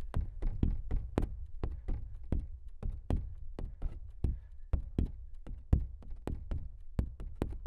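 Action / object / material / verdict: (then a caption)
tap / stretched canvas print on a frame / canvas / none. Fingertips of both hands tap quickly on the surface of a large stretched canvas print that is hollow behind. About two dozen soft, low, hollow thumps follow one another in an uneven patter, each with a faint bright click at the onset and a very short decay.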